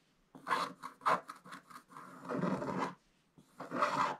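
A wooden stick held in the fingertips scrapes across the coated page of a scratch-art book, making dry, raspy scratching strokes. A run of short, quick strokes gives way to a longer sustained scrape, and after a brief pause one more stroke follows.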